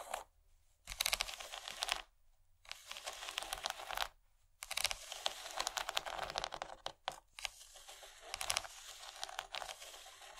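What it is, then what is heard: Plastic tray. Long painted fingernails of both hands tap and scratch the raised corn-cob texture of a large, empty rectangular yellow plastic tray that is thin and hollow underneath. Dense, bright crackling scratches come in bursts separated by short silences, with a dry, crinkly character and almost no low end.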